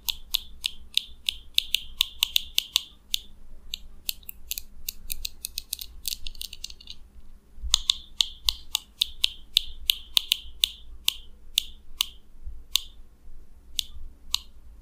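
A fingernail strums the teeth of a small purple plastic comb held in the fingers, making rapid, sharp, bright clicks with a short tonal ring near 3.6 kHz. The clicks come in quick bursts with a brief pause midway and then slow to spaced-out flicks at the end, over a faint low hum.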